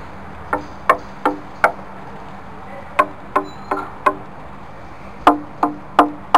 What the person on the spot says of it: Surprising tap tone from a large piece of ancient swamp kauri.